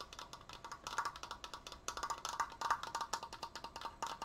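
Fast tapping on a wooden Triforce decoration produces a quick, uneven run of short, dry wooden clicks. Each tap has a woody tone centered around 1.1 kHz with a bright top and almost no low end. The taps die away almost instantly.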